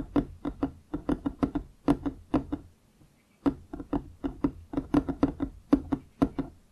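Fingers tap and knock on wooden objects in a quick, uneven rhythm of 26 short, dry knocks, each with a hollow woody tone that dies away almost at once. The knocks come in two runs separated by a brief silence a little before the midpoint.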